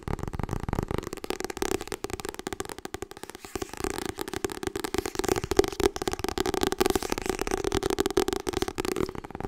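Long red nails rapidly tap and scratch the glossy printed cover of a solid, medium-size Harry Potter hardcover book. The sound is a dense, continuous stream of dry, crisp clicks and scratches with a steady mid-pitched body around 390 Hz. Each tap dies almost instantly.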